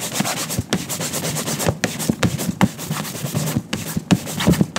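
A gloved hand holds a yellow cotton shine cloth taut and buffs the toe of a tan leather ankle boot set in a shoe-shine stand, with a second boot hanging untouched above. Rapid back-and-forth rubbing strokes produce an uneven rhythm of bright, hissy swishes over soft low thumps.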